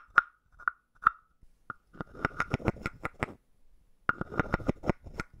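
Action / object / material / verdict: tap / hollow carved wooden frog / wood / none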